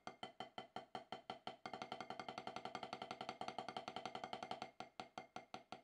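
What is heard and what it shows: Two wooden drumsticks tap on a solid octagonal HQ snare practice pad with a dark rubber surface. Evenly spaced single strokes speed up into a dense run of rapid taps for about three seconds, then slow back to spaced strokes. Each hit is a short, dry, woodblock-like knock centered near 750 Hz, with little ring and almost no low end.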